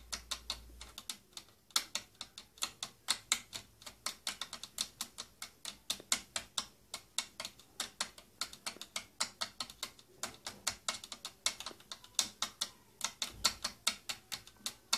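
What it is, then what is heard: Plastic case tapped with fingernails. Long nails tap rapidly and steadily on the curved side of a hollow purple plastic tattoo kit case with silver trim. Each tap is a sharp, bright plastic click that stops almost instantly, with hardly any low end. The taps come in an uneven, typewriter-like patter throughout.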